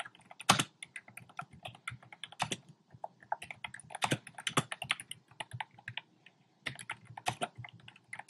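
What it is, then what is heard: Plastic mechanical keyboard. Fingertips type quickly on a compact plastic mechanical keyboard with round pastel plastic keycaps set in a dark frame. A dense run of short, bright clicks and clacks is punctuated by a few louder, fuller strikes, with a brief pause near the end before the typing resumes.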